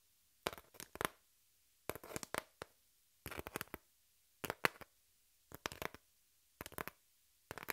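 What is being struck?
Corrugated cardboard sheet.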